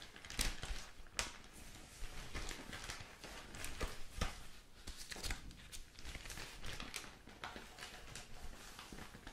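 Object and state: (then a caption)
Newspaper being handled. Hands handle and turn large sheets of thin newsprint, giving a steady run of dry crinkling and rustling. Sharp, bright crackles stand out over a soft low rumble, then fade quickly.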